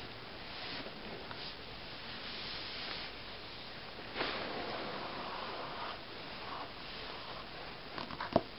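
Fingertips with painted nails tap and scratch the cover of a closed glossy paper magazine lying flat on a table. Quiet, dry scratching and rustling continue throughout, with a brief brighter swell in the middle. A single sharper tap lands near the end.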